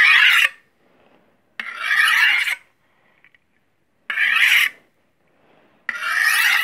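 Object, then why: Steel chef's knife drawn along a steel honing rod. A long, solid steel chef's knife blade is drawn against a steel honing rod in four separate strokes, each a bright metallic scrape. Each stroke lasts about half a second to a second, with short quiet gaps between them.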